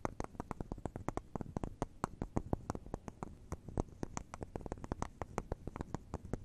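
Long neon acrylic nails tap and scratch rapidly across the bubbles of a solid wax bubble cube candle held in both hands. Quiet, dry clicks come in a steady, uneven stream, each dying away at once, with a soft low thud under them and little brightness. A faint scratchy texture fills the gaps between the taps.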